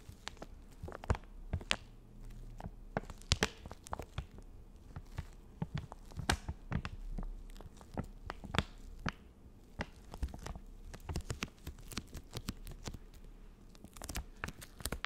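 Long nails tap and scratch the plastic surface of a full, soft plastic wet wipes packet held up close. Many quick, dry taps and crinkly scrapes come in an irregular stream with a low thud underneath, each tap dying away almost at once.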